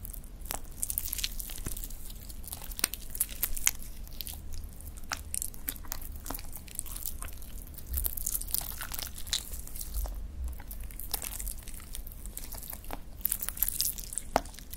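A palm-sized, soft, translucent blue toy slime blob with trapped air bubbles, resting on a dark reflective surface, is pressed, squeezed, stretched and kneaded with the fingertips of both hands. Close, wet squishing runs throughout, broken by many sharp little pops and crackles as air escapes. A low, steady rumble sits underneath.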